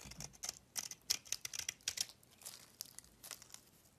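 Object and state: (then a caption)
Bar of soap being shaved. A metal utility knife blade shaves flakes from a solid cream-coloured bar of soap held in the palm. A quick run of short, dry, crisp scraping strokes is heard, bright and high with almost no low end and no ringing.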